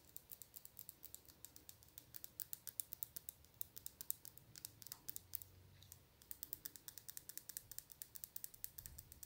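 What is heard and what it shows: Long blue nails tap quickly on a small glass nail polish bottle full of orange-red polish and on its orange plastic cap. The result is a steady stream of dozens of quiet, sharp, bright clicks that die away almost instantly, with a brief lull in the tapping a little past the middle.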